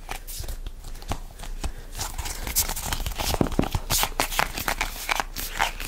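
A hollow red printed plastic tube is gripped and squeezed by both hands, with fingertips and nails pressing into it. The result is a busy stream of soft crinkling, crackling plastic and sharp bright clicks over dull low thumps, with no pauses between them.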